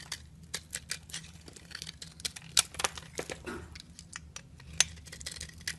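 A metal blade scrapes and cuts flakes from the surface of a solid, partly carved yellow soap bar held in a hand with long nails. The result is a quick run of short, bright, crisp scraping and crackling cuts with no ring, over a faint low hum.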